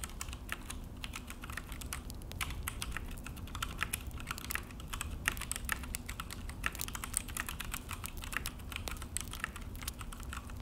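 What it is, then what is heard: Plastic mechanical keyboard being typed on. Both hands type with their fingertips on a full-size Akko mechanical keyboard with an orange plastic case and black plastic HyperX keycaps, resting on a desk. A rapid, steady run of sharp, bright plastic clicks and taps dies away almost instantly over a constant low hum.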